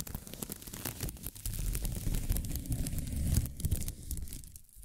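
A thin pink plastic film ribbon tape is stretched between the hands and crinkled with long-nailed fingers. Quiet, steady crinkling and crackling with bright, scattered ticks rides over a dense low rumble, swelling slightly in the middle before easing off.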